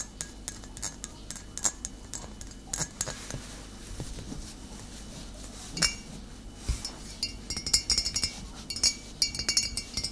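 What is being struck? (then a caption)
Glass vinegar bottle. Long nails tap the base and body of a full glass bottle of cider vinegar, held tilted and then set upright. Quick, bright clicks and clinks come in irregular bursts, each with a very short glassy ring, over a quiet background.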